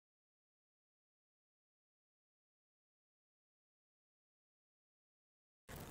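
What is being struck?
Nothing is struck.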